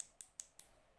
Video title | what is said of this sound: How to Sculpture Acrylic Base/Nails 2020 | you can hear that little clicking that means it's hard and the acrylic and the liquid bond together